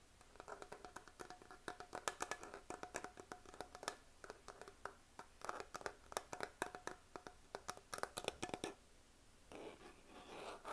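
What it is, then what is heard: Plastic makeup compact. A small, hollow, closed black plastic makeup compact is held in both hands and tapped and scratched with fingernails on its lid and sides. Quick, dry, hollow plastic clicks come in dense, uneven bursts, pause briefly near the nine-second mark, then give way to softer, continuous scratching at the end.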